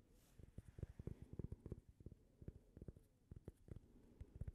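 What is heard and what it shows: A small, thin, toast-shaped solid cork coaster, held edge-on, is tapped and scratched with long fingernails. The result is a quick run of soft, dull, low taps that die away almost at once, with faint scratchy texture between them. The sound is quiet overall and heavy in the low end.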